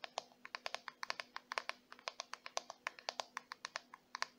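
Fingertips and long white nails scratch and flick the black plastic bristles of a small purple plastic detangling brush, then tap its glossy plastic back. About thirty crisp, dry, bright clicks and ticks come in a quick, uneven run, each dying away almost instantly. A faint steady hum sits underneath.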